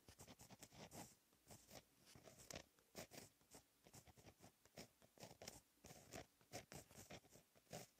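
A fine-tip gel pen held in the fingers writes Korean cursive in blue ink on a lined black paper notebook page lying flat on a solid surface. Quiet, continuous scratching of the pen tip on paper rises and falls in many short, bright strokes throughout.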